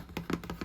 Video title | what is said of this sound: [ASMR] Guest bathroom tour (tapping, tracing, camera touching) | I feel like this is one of the best cardboard tapping and scratching sounds.